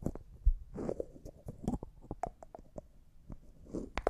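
A small, empty, clear glass cosmetic jar with a white plastic lid has its lid twisted and scratched with fingernails. The result is a quiet run of short, dry clicks and scratchy scrapes that sound muffled and low-heavy, with a few sharper ticks mixed in.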